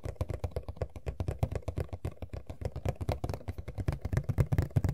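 Long nails scratch the back panel of an empty printed cardboard Funko Pop box (Sailor Jupiter), making a rapid, steady run of short, dry strokes. Each stroke is dull, low-heavy and dies almost instantly, with the scratching growing slightly louder toward the end.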